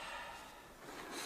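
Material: Nothing is struck.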